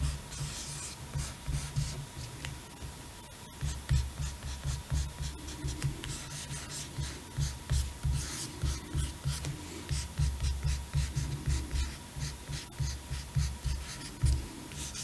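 A long fingernail traces and scratches along the laminated glossy cardboard cover of a large, flat hardcover picture book with lion artwork, lying closed on a table. The result is a steady run of dry, scratchy rubbing strokes with soft bright hiss above a low, thumping body.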